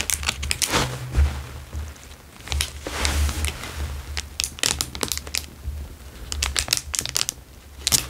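A square clear plastic wrapper is crinkled in the hands, then pressed with fingertips on a table. Bright, sharp crackles come in irregular bursts over a steady low hum.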